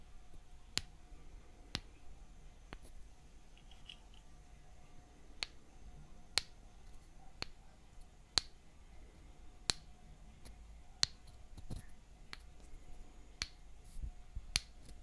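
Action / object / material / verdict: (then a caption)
strike / small wooden mallet and thin wooden stick / wood / none. A small, light wooden mallet taps a thin, solid wooden stick held in the other hand, making twelve sparse, light taps spread across the clip. Each tap is a sharp, bright click that dies away almost instantly, with quiet stretches of faint background between them.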